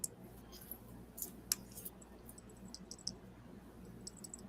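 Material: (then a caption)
Thin metal. A metal watch bracelet is shaken and handled, giving about nine quiet, thin, high-pitched metallic clicks and ticks scattered irregularly over a low steady hum. The tinny sound marks it as a knockoff, since a real watch bracelet would not sound like that.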